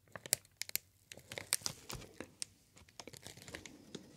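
A green plastic sheet of air-pillow packing material with hollow air-filled bubbles is held in both hands and squeezed and crinkled with the fingertips. Many sharp, bright crackles and snaps pop out irregularly over soft, quiet rustling, each dying away almost instantly.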